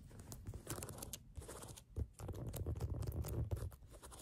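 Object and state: Rubber sneaker outsole being scratched.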